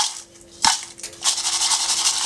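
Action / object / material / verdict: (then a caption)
shake / fried pork intestines / fried offal / crispy. Garlic-fried pork intestines are handled after frying, giving off bright, dry rattling and crunching sounds. A sharp crackle comes near the start, followed by a steady run of crisp rustling that shows they are very crispy.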